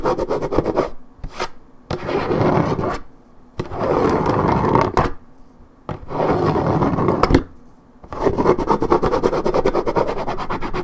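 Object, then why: Coated paperboard juice carton. Long red-painted acrylic nails scratch hard back and forth across the printed side of a hollow Minute Maid 1.75 L coated paperboard orange juice carton held in one hand, wearing a white patch into the paper. Several bursts of dense, rough, rasping scrapes with a papery, low-mid body are separated by short quiet pauses.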